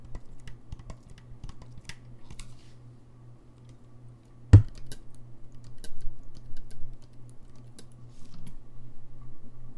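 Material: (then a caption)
Brass. Fingertips press and click the keys and pads of a hollow, gold-lacquered brass saxophone held in the hands, tapping the key mechanism without playing it. Quick, soft, dry clicks patter irregularly over a steady low hum, with one louder thump at about four and a half seconds. The clicks then continue in busier bursts.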